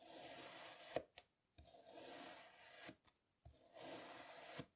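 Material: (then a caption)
Kinetic sand. A plastic serrated toy knife is drawn through a flat, solid, hand-sized slab of pink kinetic sand that has already been scored. Three long cutting strokes rasp and crunch through the sand with a bright, grainy hiss and a steady tone near 625 Hz, separated by brief silences. Each stroke ends with a sharp little click.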